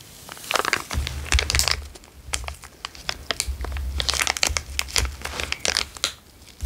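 A small, empty, transparent zip-lock bag is held between the fingers and crinkled and squeezed with the fingertips. Bursts of dry, bright crackling and crinkling come in quick, uneven clusters over a low, steady hum.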